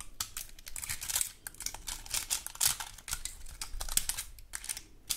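A large dry woody pine cone has its scales scratched with long gold metal claw nail covers. Dense, rapid bright crackling and scraping clicks are heard, dry and brief with no ring, at a soft level throughout.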